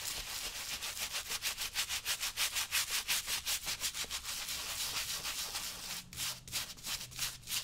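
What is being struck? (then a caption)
Leather work boot scrubbed with a stiff-bristle brush. A small stiff-bristle brush with a wooden handle, held in the fingertips, scrubs back and forth over a worn brown leather lace-up work boot on someone's foot, lathered with saddle soap. Rapid, rhythmic strokes of about three per second make a bright, scratchy swishing with almost no low end. There is a brief dip just before the six-second mark, then the scrubbing resumes.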